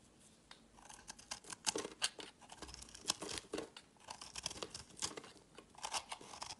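A hand-sized solid yellow bar of soap, held in the hand, is scraped and carved with a utility knife blade, and crumbly shavings fall away. The clip is a quiet run of short, bright, crisp scraping and crunching strokes with almost no low end. Each stroke cuts off sharply.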